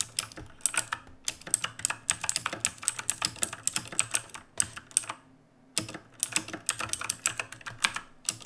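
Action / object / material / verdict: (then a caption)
tap / mechanical keyboard with plastic keycaps / plastic / none. Fingertips of both hands type on the plastic keycaps of a black mechanical keyboard resting on a wooden desk. The result is a fast stream of sharp, bright clicks with very short decay and a brief pause near the middle.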